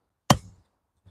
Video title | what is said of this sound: Shaping up Dirt - Rebuilding The Next Take Off | It's quite a soft soil.